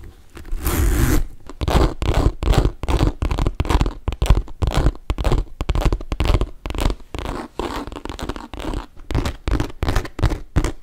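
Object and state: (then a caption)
Leather handbag being scratched. A hollow magenta pink studded saffiano leather tote, held in both hands, is scratched and rubbed with fingertips and nails, possibly touching its hardware. The result is a rapid run of short, dry, zipper-like scratching strokes with a dull low-frequency body and almost no ring.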